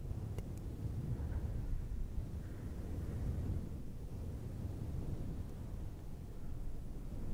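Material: Synthetic fur.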